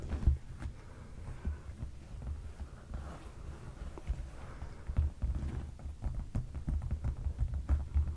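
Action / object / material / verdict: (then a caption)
tap / padded leather sofa cushion / leather / none. Fingertips of both hands tap and scratch a dark padded leather sofa cushion. The result is a steady stream of soft, dull, low thumps with a deep muffled body and almost no high end, each tap dying away quickly.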